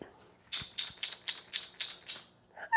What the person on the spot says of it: this one's made of glass and this one's made of plastic, and so they have different sounds